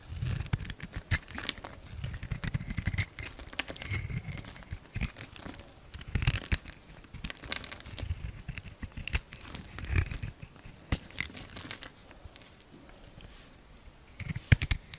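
A utility knife blade scrapes and shaves a solid light blue soap bar with a glossy dark blue coating, held in the palm. Dense, crackly scraping and crinkling comes in short bursts, with sharp, bright clicks and a soft low rumble beneath. It fades to a quieter stretch near the end, then a few sharp clicks close the clip.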